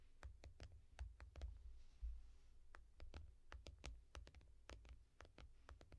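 Long painted nails and fingertips tap on the shiny glass touchscreen of a small tablet, held flat in a yellow foam rubber case. An irregular stream of short, sharp, bright clicks sounds, each dying away almost instantly, over a steady low rumble.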